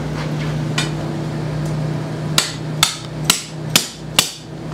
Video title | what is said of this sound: How Ping Builds Hybrids and Drivers: Part One | when you hear that solid sound that's that's when you know you hit the rock Bott